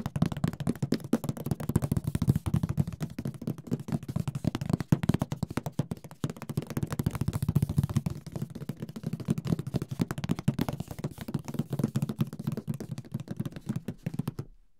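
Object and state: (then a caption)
Cardboard game box. Fingertips tap and drum on the lid of a large, closed, printed Mysterium cardboard board game box, which is hollow. A dense, continuous stream of quick, dull, hollow taps with a low, boxy thump continues for about fourteen seconds. Each tap dies away almost instantly, and then the tapping stops.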